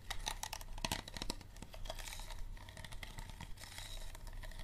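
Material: Plastic.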